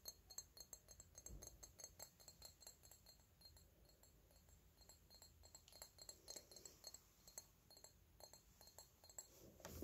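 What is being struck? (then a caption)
Small glass perfume bottle. A small, hollow dark purple glass perfume bottle with a red cap is tapped on its glass body with fingertips and nails. The result is a quiet, rapid series of short, bright clinks with very little ring, over a faint low rumble.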